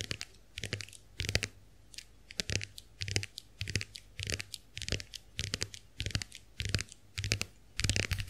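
A small round white plastic clamshell hand mirror is held open while long acrylic nails tap and scratch the plastic backs of its shells. Quick clusters of bright, dry clicks and scratchy rasps come in irregular bursts. A steady low hum runs underneath throughout.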